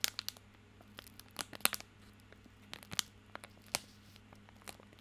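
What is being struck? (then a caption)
Plastic film wrapper on a bar of soap. Fingertips scratch and crinkle the plastic film wrapper of a small bar of soap held in both hands. Sharp, bright crackles and crinkles come in irregular bursts over a faint steady low hum.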